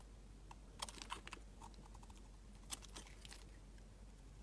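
A utility knife blade shaves curls from a solid, translucent orange glycerin soap bar, giving short, crisp, bright scraping clicks that start and stop quickly. Several sharper snaps stand out over a steady low hum, and the cuts fade at once without ringing.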